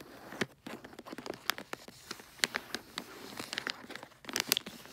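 Long acrylic nails scratch and tap the surface and edge of holographic tree-print foil wrapping paper on a rectangular gift box tied with a red ribbon bow. A quick, irregular run of crisp, bright crinkling scratches and sharp clicking taps is heard, each dying away almost instantly.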